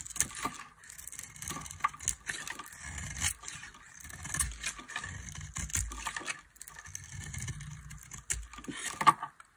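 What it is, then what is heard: Dry soap bar being carved. A solid bar of dry orange soap is held in the hand and shaved with a metal knife blade, curling flakes off its surface. Repeated dry, crisp scraping strokes come in uneven bursts, bright and rasping with a soft low rustle underneath, ending in a sharper, louder scrape near the end.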